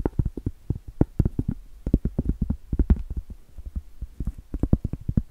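Acrylic nails tap and scratch the flat face of a round solid cork trivet held up to the camera. The result is a rapid, uneven run of dull, muffled knocks with almost no ring. A faint low hum sits underneath, and light scratchy rustles fall between the taps.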